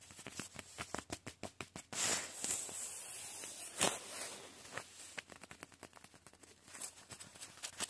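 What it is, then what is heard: Painted nylon sleeping bag. Fingertips scratch and rub across a padded, synthetic green nylon sleeping bag painted with black and yellow spots and grey and white stripes, working over the painted surface and its folds. Quick, crisp scratches and taps come first, then a longer, continuous rustling rub, and then a return to short scratching taps. The sound is bright and papery, with little low end.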